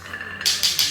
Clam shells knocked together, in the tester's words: 敲起来声音响亮就是鲜活的如果声音很闷很沉呢很有可能啊里面含有泥土了